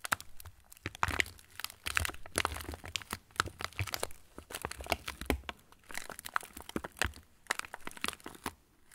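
An opened yellow plastic TUC cracker wrapper with crackers inside is held in both hands and crinkled and squeezed with the fingertips. The result is dense, continuous crackling and crinkling with sharp, bright snaps, coming in bursts with a few brief pauses and no talking.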